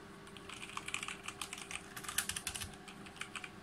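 Fingertips type rapidly on a full-size RGB G513 Carbon mechanical keyboard with GX Brown switches and plastic keycaps on a brushed aluminum plate. A quick run of bright, sharp clacking keystrokes comes at uneven spacing, each dying away almost instantly, over a faint steady low hum.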